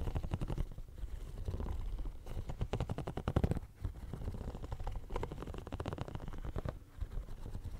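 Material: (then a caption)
Silicone. Fingernails scratch and tap across the small raised bumps of a pink, hand-sized, hollow silicone studded pencil case held by the mic. The result is a dense, continuous run of rapid, dull scratchy taps with a deep, rumbling low-end body and almost no brightness.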